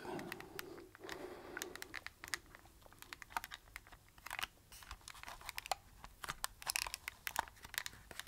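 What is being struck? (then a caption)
Handheld plastic camcorder. Fingertips and nails press and tap the buttons and hollow plastic casing of a small handheld camcorder held in both hands. The result is a quiet, dense run of sharp, dry clicks and taps with a bright, crinkly edge, over a soft rustle in the first two seconds. Each tap dies away almost instantly.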